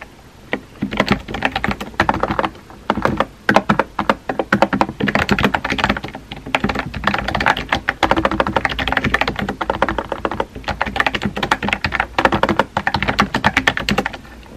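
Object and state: Plastic keyboard being typed on.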